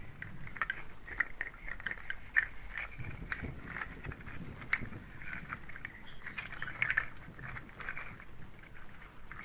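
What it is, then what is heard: Nut shell shaker. A hand-held shaker made of clusters of dried, hollow brown nut or seed shells on a twine loop is held in the hands and shaken near the microphones. It gives a steady, dry, crackling rattle of many small clicks, centred in a bright band around 2 kHz over a soft low rumble, with a few sharper clatters standing out.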